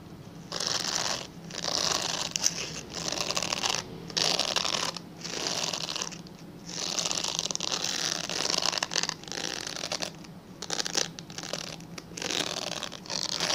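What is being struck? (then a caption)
Glycerin soap bar. A translucent pale yellow glycerin soap bar, held in the hands, is scratched with fingernails. Bursts of bright, dry scratching come in quick passes separated by short pauses, over a faint steady low hum.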